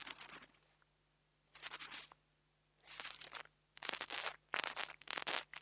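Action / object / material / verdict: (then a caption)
scrape / metal grille of a small lavalier microphone / metal / none. A metal nail tool tip taps and scratches the metal grille of a small black plastic mini lavalier microphone. It makes bright, crunchy, crackling bursts in separate clusters with near-silent gaps, growing louder and denser toward the end. A faint steady low hum runs underneath throughout.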